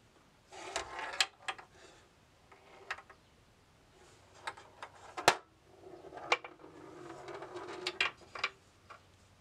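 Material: Wood, steel.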